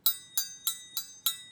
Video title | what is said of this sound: Distance Learning 2020 Week 1 Lesson 2 | if I tap it on the side it rings a little bit more